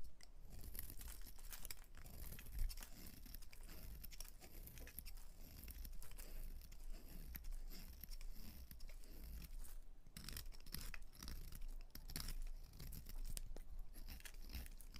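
A utility knife blade cuts and scrapes thin, crunchy slices from the edge of a solid white rectangular bar of soap held in the fingers. Dense, crisp crunching and scraping crackles run continuously, with bright edges over a steady low hum. Each scrape is brief and dry, with almost no ring.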